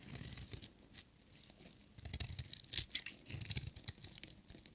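A metal utility knife blade scrapes and shaves a solid, dry orange bar of soap with white stripes. The result is a run of crisp, bright, rasping scrapes with some low rumble underneath. The scrapes come in uneven bursts, quiet early on and busiest in the second half, with the sharpest one near the 2.8-second mark.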